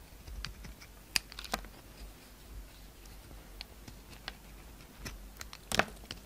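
A solid white oval soap bar with a red outer layer, held in the hand, is shaved with a utility knife blade, which cuts off curls. Quiet, bright scraping and cutting clicks come in short bursts over a low background hiss. The sharpest cuts fall near the start and end of the clip.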